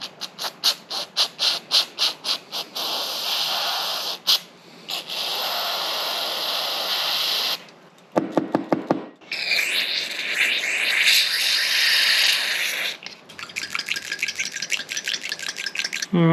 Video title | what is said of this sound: Checking Compression On The 2JZGE Lexus GS300 | that is now opening and closing